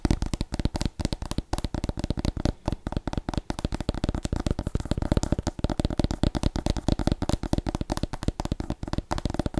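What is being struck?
Small pumpkin gourd.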